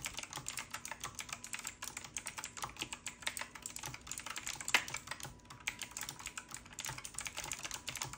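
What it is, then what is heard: Mechanical keyboard with round plastic keycaps being typed on. A hand types continuously with its fingertips on a full-size retro typewriter-style mechanical keyboard with round black plastic keycaps and a metal-looking frame. A steady, rapid stream of bright, crisp key clacks is heard, with very short decay and one louder clack near the middle.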